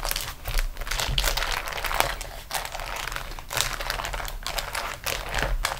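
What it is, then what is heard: Beeswax-coated cotton food wrap. A flat beeswax-coated cotton food wrap is rolled and pressed under fingertips and long nails on a table. It gives a continuous dense crinkling and crackling as the waxed sheet bends, with brighter bursts at intervals and a low steady rumble underneath.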